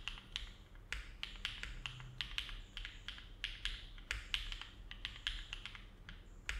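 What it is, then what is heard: Mechanical keyboard with plastic keycaps. A compact Neo70 mechanical keyboard, with an aluminum case and plate, foam filling and ABS plastic keycaps, sits on a desk mat while both hands type with their fingertips. Steady, slow key presses make short, hollow, bright clacks centered near 3 kHz, each fading almost at once. A faint low rumble runs underneath.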